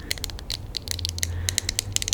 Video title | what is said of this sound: ASMR * 10 Truly Unique Finds! * Tapping & Scratching * Whispered * ASMRVilla | this is like a thin plastic it's got a really high pitch it sounds so nice